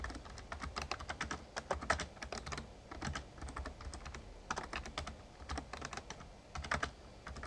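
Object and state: Plastic membrane keyboard being typed on.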